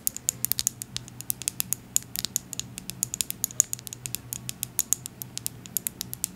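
Long acrylic nails tap and scratch a small, filled amber glass oil bottle with a dropper. The result is a rapid, irregular run of crisp, bright clicks and ticks with almost no ring, over a faint low hum.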